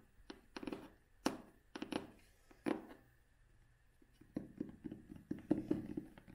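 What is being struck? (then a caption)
Cloth-covered hardcover book. Long fingernails tap and scratch the cover of a vintage cloth-covered hardcover book held upright. Soft, dull taps with a low-mid body die away almost at once, mixed with brief scratchy brushing. The sound is quiet and close, with irregular taps that come in clusters.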